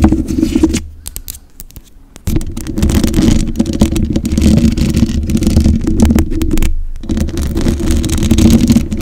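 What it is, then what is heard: Metal microphone grille scratched. Long white acrylic nails on both hands scratch and tap the bare black metal mesh grille of a large USB condenser microphone with a hollow head. The result is a dense, boomy, rumbling scrape with heavy low end and little brightness, punctuated by soft irregular taps. It drops to a quiet lull between about one and two seconds and briefly pauses again near the seven-second mark.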